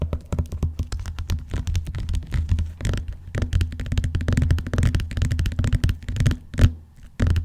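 Fingernails tap rapidly on the cover of a closed blue textured vinyl-covered binder. The result is a dense, continuous run of short, dull clicks with a low, thuddy body and almost no ring after each tap.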